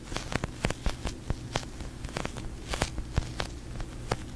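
A large, soft, yellow-green slow-rising sticky polyurethane foam squishy toy is held in both hands with long painted nails and squeezed, tapped and scratched in front of a fluffy mic cover. There is a quick series of short, dry taps and sticky crackles over a low, muffled rumble, with brief bright clicks from the nails.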